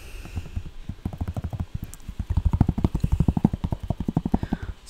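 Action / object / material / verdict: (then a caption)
tap / leather sneaker with rubber sole / leather / none. Fingertips rapidly tap the leather upper and side of an empty, hollow white, green and orange leather Nike Dunk Low sneaker with a rubber sole, held up close in one hand. About 26 quick, dull, low thuds come in an uneven run, sounding much like hoofbeats. They grow louder past the midpoint, and a brief bright rustle closes the clip.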